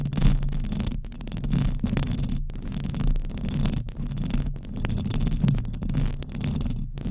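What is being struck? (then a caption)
Metal mesh microphone grille. Long acrylic nails on both hands scratch continuously across the hollow metal mesh grille of a silver condenser microphone. The result is a dense, boomy scratching rumble concentrated in the low end, pulsing around a low fundamental, with faint brittle crackle above and a few brief near-silent breaks between strokes.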